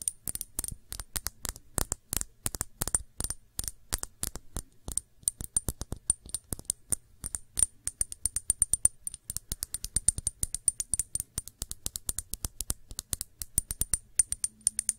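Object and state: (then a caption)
Glass shot glass. Long nails tap quickly on a small, clear, empty glass shot glass with a thick base, tilted in the hands. About 90 sharp, clicky taps sound with a high glassy ping that dies away almost at once, over a faint low hum.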